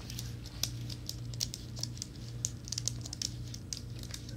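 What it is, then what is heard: Plastic and aluminum keyboard. A slim white plastic and aluminum wireless keyboard, with plastic keys on an aluminum base, is held up in the hands while fingertips and nails tap and brush the keys. It makes soft, bright clicks and scratchy brushing over a steady low hum. The taps are short and close together, with no ring after them.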